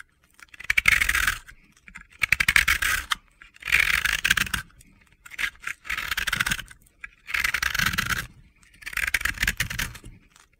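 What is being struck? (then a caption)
Pressed-powder bath bomb scraped with a blade. A palm-sized solid yellow-pink ball of pressed powder, a bath bomb held in the hand, is scraped with a utility-knife blade in a series of separate strokes. Each stroke gives a dry, bright, gritty scraping rasp with short pauses between, and crumbly, gritty shavings come off the ball.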